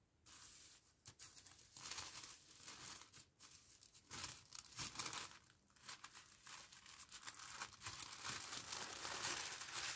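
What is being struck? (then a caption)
Thin tissue paper sheet. Hands with long painted nails fold a thin, large sheet of pink tissue paper over a fabric face mask resting on a towel-covered table. The paper gives off a steady run of bright, crisp crinkling and rustling with brief tearing-like swishes, swelling and fading in uneven bursts and growing denser toward the end.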